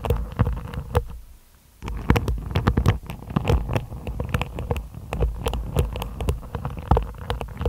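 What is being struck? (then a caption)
Hairbrush with plastic bristles on a wooden body. Long nails repeatedly scratch over the tips of a hairbrush's black-and-white plastic bristles set in a wooden body. The result is a dense run of quick, crackly ticks and flicks with a low, muffled body, broken by a brief near-silent pause about a second in.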